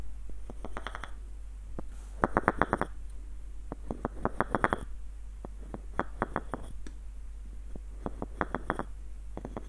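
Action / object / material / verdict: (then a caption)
scrape / wooden screw nutcracker / wood / none. Fingertips scratch and rub along the wooden threads of a small light-wood screw nutcracker with a hollow body, its threaded screw partly unscrewed. The result is quiet bursts of rapid, dry, clicky scratches in uneven clusters, each tick stopping instantly with no ring, over a steady low hum.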